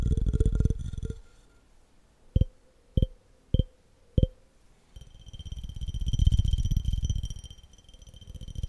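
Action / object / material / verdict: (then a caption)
tap / glass jar / glass / none. A clear, empty glass jar held tilted in one hand is tapped on its walls with fingertips and nails. A burst of rapid tapping gives way to four separate, sharp taps that each leave a brief glassy ring. Then fast, continuous tapping swells and fades with a bright, ringing edge.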